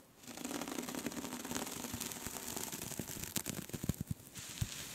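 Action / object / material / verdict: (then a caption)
scrape / cable-knit yarn scarf / knitted yarn / none. Long pink nails scratch and tap into a soft pink cable-knit scarf lying flat. A steady, dense, crackly rustle runs throughout, with sharper soft taps standing out near the end.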